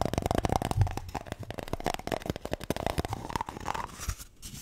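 A toilet paper roll is tapped and scratched in a rapid, uneven stream of soft, hollow taps and papery scratches. The sound is dull and low-heavy with little bright content, and it thins out into quieter scratching near the end.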